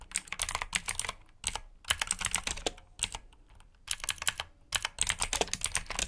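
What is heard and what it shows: Fingertips type on a black plastic mechanical keyboard with blue switches resting on a brown mat. Rapid, bright, clicky keystrokes come in bursts, with short pauses between runs of typing.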